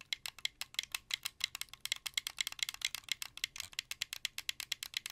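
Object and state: Plastic game controller.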